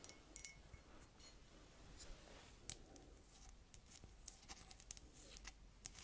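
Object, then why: Ceramic mug. A hollow, apparently empty white ceramic coffee mug with a cartoon print is held up in both hands and tapped and scratched on its sides and bottom with long dark red nails. The result is a quiet run of light, bright clicks and ticks over soft scratching, with brief ringing on the taps and a low rumble underneath.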